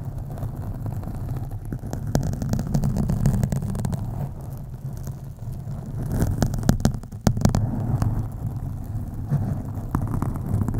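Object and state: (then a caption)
Foam microphone windscreen being scratched. Long acrylic nails on both hands scratch a black foam windscreen on a USB microphone, producing a dense, deep rumbling rustle centered low around 100 Hz. Sharp scratchy bursts cut through, especially in a cluster near the middle of the clip.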